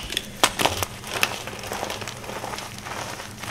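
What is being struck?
Block of gym chalk (magnesium carbonate).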